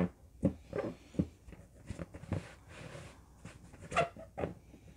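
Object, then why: Inflated latex balloon. An inflated, hollow, yellow LED-lit latex balloon is held in both hands while nails and fingertips scratch and tap its surface. Soft, dull taps and rubbery squeaks come at an irregular pace, with brief airy scratching in between. The taps are short and die away almost at once.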